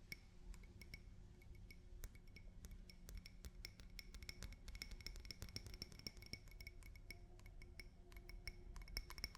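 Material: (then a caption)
Glass. A drinking glass is tapped with fingers and nails in quick, irregular runs. Each tap gives a short, bright clink with a faint high ring, over a soft low rumble.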